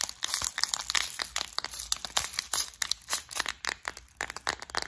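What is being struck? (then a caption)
Clear plastic case with metal studs inside. A clear plastic flower-shaped bead organizer full of gold studs is tapped and scratched with long nails, then turned and shaken in the hands. The result is a dense run of quick, bright clicks and crinkly scratches with a rattling edge, each tick dying almost instantly and with almost no low end.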